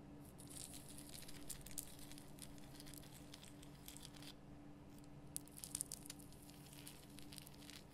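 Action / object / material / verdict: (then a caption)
scrape / rock salt lamp / rock salt / none. Long fingernails scratch the rough crystal surface of a large pink Himalayan rock salt lamp, making a quiet, dense crackling and rasping with bright, gritty detail over a steady low hum. The scratching eases briefly just past the midpoint, then returns with a few sharper clicks before continuing evenly to the end.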